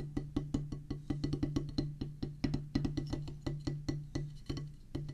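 A solid oval drum practice pad, with a black rubber top on a pressboard or wood base, is drummed with wooden drumsticks. About 30 quick, dry taps land in an uneven rhythm over five seconds, each a short, dull knock with a low tonal thump that dies away almost at once.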